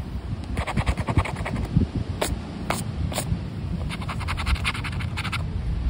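A black plastic disc scraper rubs off the latex coating of a thin paper Mina de Ouro lottery scratch card, which is held flat by fingertips and rests on rubber flip-flops on beach sand. Rapid, repeated dry scratching sounds come in bursts with bright raspy strokes, over a steady low rumble of outdoor wind.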